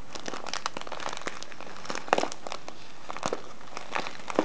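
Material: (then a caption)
Kraft paper. A full brown kraft-paper tea package with a printed label and a clear plastic window showing loose tea is rubbed and crinkled by fingertips and nails. Dense, continuous crinkling and crackling sounds fill the clip, with a few sharper, louder crunches standing out.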